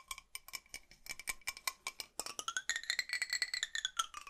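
A large, hollow blue metal drinking bottle is held in both hands and tapped and scratched with fingernails along its body and base. Quick, crisp, bright taps ring with short metallic tones near 1.3 kHz. Partway through, the ringing pitch slides upward and holds as higher, steadier tones under the continued tapping.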